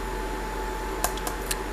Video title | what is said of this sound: KKMoon bluetooth backlit keyboard review Skywind007 | it's very hard if you hit it with your nail very hard it'll hurt your nail that's how solid it feels